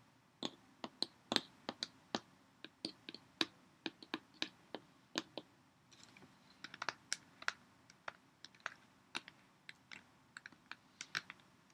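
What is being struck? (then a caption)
Plastic water bottle. Long nails tap and click on a clear Poland Spring PET water bottle of about 0.5 L, hollow and partly full of water, with a ridged body, and on its cap. About 36 quiet, sharp, bright clicks come at an irregular pace, each dying away almost at once, with a slightly denser, busier stretch after about 6 seconds.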